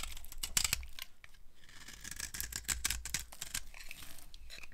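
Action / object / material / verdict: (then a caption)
scrape / bar of soap scraped with a knife / soap / none. A dry, solid cream-white soap bar held in the palm is carved with a red-handled knife, the blade scraping off thin dry shavings. A rapid series of bright, crisp, crunchy scrapes and crackles sounds over a faint low rumble, each stroke short with almost no ring.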